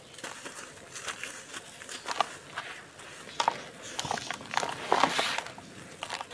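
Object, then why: Clods of red soil crushed by hand. Bare fingertips and palms dig into a basin piled with dry, fine red dirt and small crumbly clods, with no water, crushing the clumps and rubbing the soil through the fingers. The result is a steady, dry crumbling and crunching texture with sharp, bright crackles and gritty bursts, centered around 900 Hz to 1 kHz, with almost no low end.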